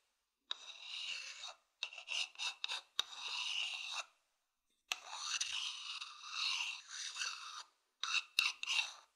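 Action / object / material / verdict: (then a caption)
scrape / wooden bowl scratched with a thin wooden stick / wood / none. A thin wooden stick scratches the outer side of a medium hollow wooden bowl held in both hands. Bursts of dry, bright rasping and rubbing come in long strokes and quick short scrapes, separated by silences, with a couple of sharp clicks. The sound sits almost entirely in the high range, with no low end.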